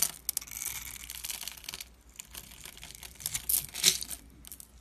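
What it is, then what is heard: Soap bar being carved. A dark metal blade scrapes and cuts a solid white soap bar held in the hand, and small soap chips crumble off. The sound is a bright, dry scratching and crackling, almost all high hiss with little low end. It is broken by sharp little snaps, and the loudest bursts come near the end.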